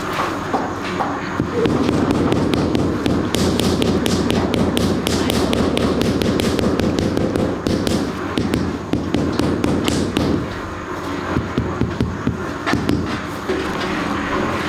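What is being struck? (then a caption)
Ceramic floor tile on mortar, tapped with a rubber mallet. A large, glossy grey marble-pattern ceramic floor tile is laid on a mortar bed and tapped down with a rubber mallet while a gloved hand steadies it. A quick, uneven run of dull, low thudding taps with brief bright clicks continues throughout. The tile is solid and flat.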